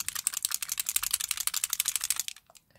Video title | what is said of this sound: Kiko Milano make up haul Tuscan Sunshine collection and some Aldi products | you can hear the balls in it